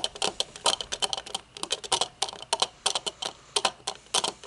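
Long nails tap the metal frame and dark tinted lenses of a pair of sunglasses, first resting on a table and then held up. A quick, uneven run of sharp, bright clicks follows, each dying away almost instantly with no low end.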